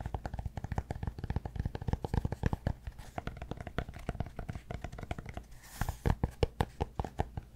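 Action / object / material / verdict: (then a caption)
tap / cork block / cork / none. Fingertips and short nails rapidly tap and scratch the flat face of a large, solid, rectangular yoga-block-size cork block, held upright in one hand in front of a fluffy microphone. The result is a quick stream of dull, low-heavy, muffled taps that die away almost instantly, mixed with soft scratching. Near the end comes a brief, brighter scratchy stretch followed by a few sharper taps.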